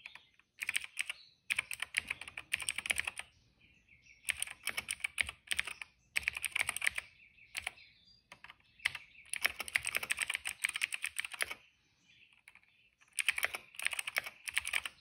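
A retro-style cream plastic mechanical keyboard with dark and purple plastic keycaps and a hollow case rests on a rug while fingertips of both hands type steadily on its keys. Bursts of quick, bright, crisp clicks and clacks come in several runs separated by short pauses.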